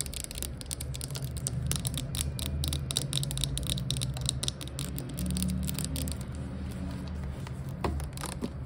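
Long acrylic nails rapidly tap and scratch the body and label of a clear plastic Glade air freshener bottle, about 460 ml, hollow with liquid inside, lying on its side. Dense, bright clicking taps and scratchy rasps run continuously over a steady low rumble, with a few sharper taps near the end.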